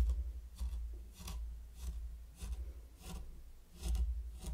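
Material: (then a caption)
Sand. A mini wooden rake held by the fingertips scrapes rows of lines into fine pink sand covering a large heart-shaped wooden board. Soft, gritty scraping strokes with brief bright hissy bursts repeat over a steady low rumble, each stroke swelling and fading smoothly.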